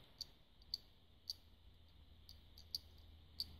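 An iRig Mic Cast clip-on phone microphone is shaken, and a loose part inside it rattles as a series of sharp, high-pitched clicks over a faint low hum. The loose part is a flaw because the microphone picks up its own rattling noise.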